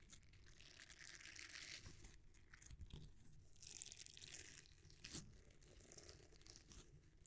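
A palm-sized, flexible red silicone bristle scrubber is bent and rubbed with the fingers and thumbs close to the microphone, without touching it. It makes soft, crackly, crunchy rubbing with bright hissy bursts over a low rumble, in quiet, continuous waves with a few sharper snaps.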